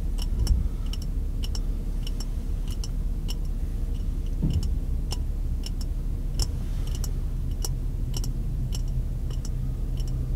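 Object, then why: Glass jar with metal screw lid. Fingers tap on the glass of a clear, empty-looking glass jar with a metal screw lid, held sideways. The taps are short, bright clicks repeating at an uneven pace, sitting over a steady low rumble that fills most of the clip.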